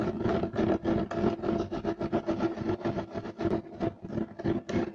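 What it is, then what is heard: Woven loop-pile carpet scratched with nails. Short nails of both hands scratch fast across a solid, flat beige striped woven loop-pile carpet. The result is a rapid run of dry, rough scraping bursts with a mid-range rasp and a bright edge, with short gaps between strokes.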